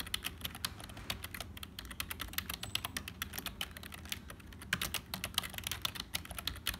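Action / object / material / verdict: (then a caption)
tap / plastic membrane computer keyboard / plastic / none. Fingertips of both hands type fast on a black HP plastic membrane keyboard with hollow keys. The result is a rapid, uneven stream of short, bright plastic clicks and clacks, with a faint low rumble underneath.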